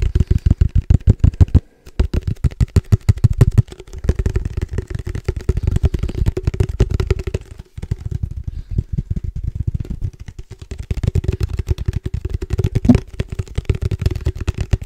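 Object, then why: Plastic padel ball tube with metal lid. A hollow black padel ball tube with a red logo and a silver metal lid is held in one hand and tapped rapidly with the fingertips of the other along its side and lid. The clip is a dense stream of quick, dull, low-pitched taps with a faint hollow ring, pausing briefly a few times before continuing.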